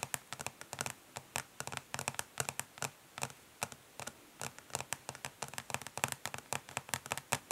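Long nails tap quickly and gently on the ridged, smoky plastic back of a makeup palette case, with some light scratching. About 39 short, bright, dry clicks come in quick clusters with almost no ring and little low end.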